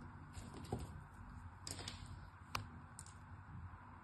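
A solid striped pink-and-white soap bar held in hand is scored and cut into cubes with a small metal blade. Five sharp, irregular clicks and snaps of the blade biting through the soap sound over a low, steady background rumble, each fading quickly.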